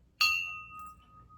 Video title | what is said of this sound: Setting the Christmas Dinner Table 2023 ~ Join Me As I Prepare for the Family Christmas 🎁🎄 | You can always tell crystal because if you flick it, you can hear that ringing sound. And that is the best way to identify crystal.